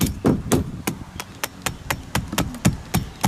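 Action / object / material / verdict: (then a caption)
tap / painted oak timber frame member / oak / hollow. Someone taps along a painted and filled oak frame timber near the front door of a listed timber-frame house, giving a rapid, uneven series of short, dull, low knocks with no ring. The timber sounds hollow, suggesting little sound wood is left under the paint and filler.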